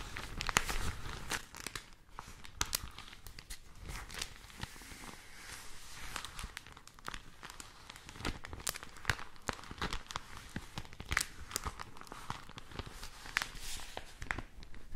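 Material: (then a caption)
Paper. A thin printed paper newspaper insert with a pink cover is held flat and rubbed and handled with long nails and fingertips. The result is quiet, continuous crinkling and rustling, broken by many sharp, bright nail clicks and scratches.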